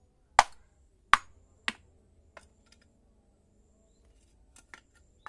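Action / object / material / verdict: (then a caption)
strike / terracotta clay roof tile / terracotta / none. A small blue-handled hammer taps and knocks a broken orange terracotta clay roof tile, flat, solid and already cracked into several pieces, lying on dirt ground, to break it into smaller shards. Three sharp, bright clacks with very short ring come first, followed by softer, sparser taps. The tile chips apart with dry, clicky knocks.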